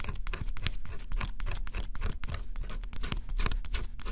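A small metal stylus held in the fingers scratches the black scratch-off coating on a flat, solid cardboard jigsaw puzzle. Close-up, it gives a dense run of short, dry scraping strokes over a low rumble. The strokes come one after another without pause, and the brighter bursts recur throughout.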